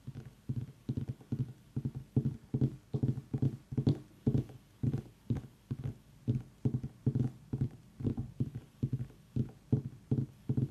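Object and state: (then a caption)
Pumpkin tapped with fingertips. Fingertips tap on a pumpkin in quick, uneven bursts, often in pairs, about two to three a second. Each tap is a short, dull, hollow thud centred low around 145 Hz with almost no bright content, dying away almost at once.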